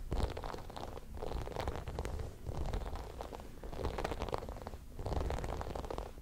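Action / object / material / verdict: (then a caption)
scrape / plastic spiky massage ball / plastic / none. A small, palm-sized white spiky plastic massage ball is rolled and rubbed between both palms close to the microphone. It makes a dense, crackly scratching rustle with a low rumbling undertone, rising and falling in repeated swells.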